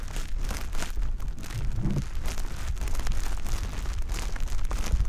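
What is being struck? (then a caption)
Konjac fiber sponge. A soft, porous, wet konjac fiber sponge puff is held by the fingertips and rubbed and pressed repeatedly over a dummy-head ear. The result is a continuous stream of crinkly, wet squishing with a heavy low rumble underneath and short, bright crackles throughout.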